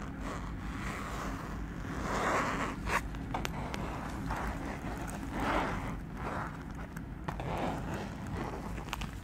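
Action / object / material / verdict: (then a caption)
scrape / small fabric zipper pouch / fabric / none. A small printed fabric zipper pouch is held and tilted in the hands while fingers slide its zipper open and shut. Soft, rasping zipper runs rise and fade in repeated bursts over a steady low rumble, with a few faint clicks in between.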